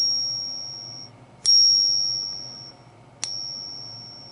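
A coin stated to be fake, held in a pocket pinger, is flicked twice, each flick giving a high, clear bell-like ring that slowly fades. The tail of an earlier ring is still dying away at the start.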